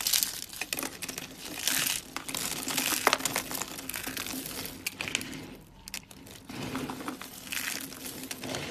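Bare fingertips squeeze, crush and crumble a pile of small, dry pink, green and white soap shavings in a wooden tray. Dense, bright crunching and crinkling crackles run throughout in uneven bursts, briefly quieting near the six-second mark before building again.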